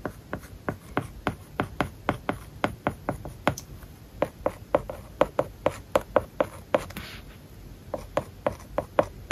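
A plastic stylus writes words on an iPad lying flat, its glass screen covered with a matte plastic paper-like film. Dozens of short, crisp taps with a light mid-pitched tone come in quick irregular succession, with soft scratchy strokes across the film in between.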